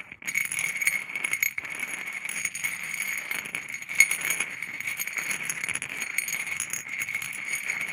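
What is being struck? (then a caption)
Stone pebbles on a ceramic plate. Small, solid, mixed natural stone pebbles on a white ceramic plate are stirred and knocked with a wooden stick, rattling against each other and the plate. The clip is a continuous, bright clatter of dense clicks and scrapes centered around 2 kHz, with almost no low end. Occasional sharper knocks rise above the rattle.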